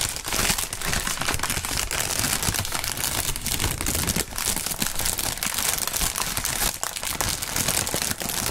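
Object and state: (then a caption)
Plastic air cushion packing film. Thin, clear plastic air-pillow packing film, partly inflated, is bunched up and crumpled by two fingerless-gloved hands, and its air cells pop. A dense, continuous crackle of bright crinkles and small sharp pops runs at a steady level throughout, with a low rustling underneath.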